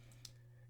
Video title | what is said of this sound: Christmas Season 4K/Blu Ray Haul! #movies #moviecollecting #bluray #bluraycollection #blurayhaul | you can hear it's a box set that I'm tapping on